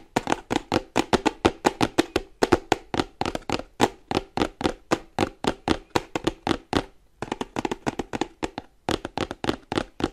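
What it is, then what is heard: Cardboard box. Fingers and nails tap quickly along the sides of a printed cardboard charger box held upright in both hands. About 48 short, dry, hollow taps sound in rapid, uneven bursts, each dying away almost at once, with brief pauses between runs.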